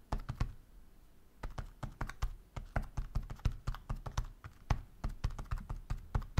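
Fingertips type on the soft rubber keys of a black flexible roll-up silicone keyboard with red and blue keys, lying flat on a wooden desk. Quick, irregular keystrokes make dull, muffled low thuds with almost no ring, pausing briefly near the start before the typing continues steadily.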